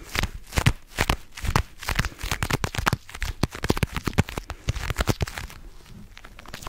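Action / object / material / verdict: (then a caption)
tap / small faux leather jewelry box / faux leather / none. A small, hollow cream faux leather jewelry box, held sideways, is tapped and scratched with long nails. Quick, irregular taps with soft low thuds mix with dry, crinkly scratching. Each tap dies away almost instantly, and the sound eases into quieter scratching near the end.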